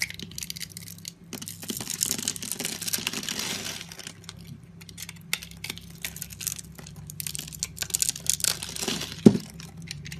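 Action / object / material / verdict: scrape / bar of soap / soap / none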